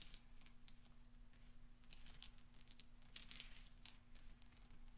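Fingertips scoop and roll small solid steel pachinko balls on black velvet, so they clink together in quiet, bright metallic ticks. The clinks come in clustered bursts over a low, steady hum.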